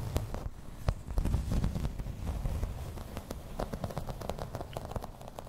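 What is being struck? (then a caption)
Thin embossed plastic placemat. Long red nails tap and scratch in place on a thin, solid grey embossed plastic placemat. The result is a quick, irregular run of dull, low taps mixed with faint scratchy crackle, each tap dying away almost at once.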